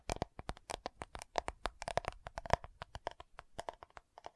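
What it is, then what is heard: Plastic powder jar. Long nails tap and scratch the lid and rim of a round, dark purple plastic loose powder compact jar. About 28 quick, dry clicks come in an uneven run, each dying almost instantly, with a faint hollow tone near 690 Hz and light scratchy texture between the taps.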